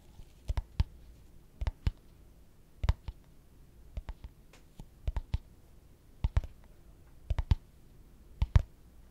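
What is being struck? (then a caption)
Small plastic cup. A small, translucent, empty clear plastic cup is held in both hands and tapped with the fingertips and nails. Sharp, dry clicks come in small clusters of two or three, separated by quiet pauses. Each tap dies away almost instantly over a faint low hum.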